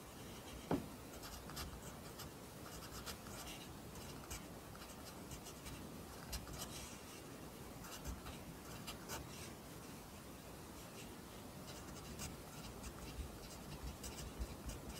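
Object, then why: Graphite pencil on a lined paper notebook. A pencil writes near the bottom of an open lined paper notebook, its graphite scratching steadily across the page. The quiet, continuous rasp has bright, airy texture and a few slightly louder ticks as strokes start and end.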